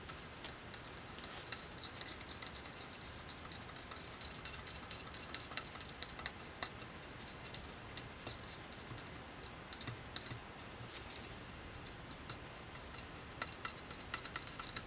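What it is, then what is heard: Wooden hair brush handle tapped with fingertips and nails. The solid, glossy dark wooden handle of a hair brush is tapped rapidly with fingertips and nails. The result is a quiet, steady stream of short, dry clicks and ticks with a bright, high edge. Each tap dies away almost instantly over a soft background hiss.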